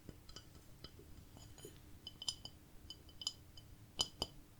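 A ceramic plate decorated with cats is tapped in a quiet series of light, clinking, glassy taps. The taps are bright and high-pitched around 3 kHz, each dying away almost at once. Scattered soft taps build toward two stronger ones near the end.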